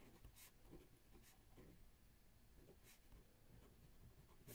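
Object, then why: Ballpoint pen on spiral notebook paper. A ballpoint pen held in the fingertips writes on a spiral lined paper notebook resting on a wooden table. Quiet, soft scratching strokes carry a low rumbling body, punctuated by brief bright rasps as the pen moves across the paper.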